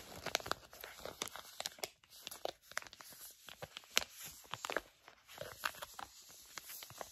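A medium-size, flat pink and blue sheet facial mask pouch made of plastic/foil laminate is crinkled and scratched with long nails and fingertips. The result is a quiet, continuous stream of dry, bright crinkles and sharp crackling snaps, with almost no low end.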